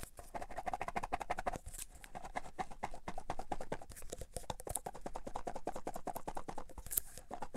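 A full clear plastic tub of cotton swabs is shaken and tapped with fingertips, the swabs rattling inside. Rapid, dense, dry clicks and rattles run steadily throughout, centered in the midrange, with occasional brighter bursts and no ringing tail.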